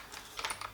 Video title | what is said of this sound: Saigo Defense Ronin AEG - Bringing It Home Ep. 60 | the dust cover when I shake it because it's just solid it is absolutely solid